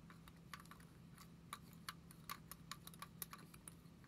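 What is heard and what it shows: A small, hollow black and gold lipstick tube, likely plastic with a metallic finish, is held in both hands and tapped with long acrylic nails. The result is a quick, irregular series of short, dry, bright clicks with almost no ring, over a soft steady low hum.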